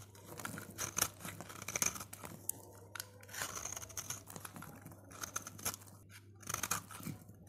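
A utility knife blade shaves and scrapes the surface of a solid, dry orange soap bar held in gloved fingers, sending crunchy curls piling up below. Repeated bright, crisp scraping and crackling bursts rise and fall over a faint steady low hum.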